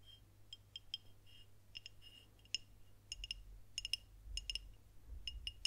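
Long nails tap along the body of a dark glass beer bottle with a paper label, held horizontally. The result is a run of quick, sharp clicks with a bright glassy ping near 2.8 kHz that dies away almost at once. A faint low hum sits underneath.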